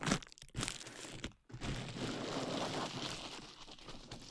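A clear plastic bubble wrap sheet wrapped over a dummy-head microphone is squeezed, popped and crinkled by fingertips and long nails. A few sharp crackling pops open the clip, broken by a brief near-silence around 1.4 seconds. Dense, bright crinkling and rustling then continues steadily to the end.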